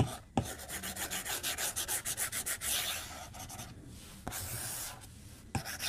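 A white plastic stylus tip strokes and taps the glass screen of a tablet lying flat on a desk while drawing. Quick, bright, scratchy strokes come in an uneven rhythm, broken by a few sharp clicks where the tip taps down. The rubbing then eases into softer, longer glides.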